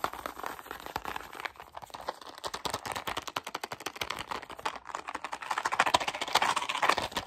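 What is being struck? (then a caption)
Small cardboard box. A small, hollow white cardboard gum box is held close and rapidly tapped and scratched with fingertips and short nails. The result is a fast, irregular stream of dry, papery clicks and scratchy rasps, bright with almost no low end. The taps grow louder and denser toward the end.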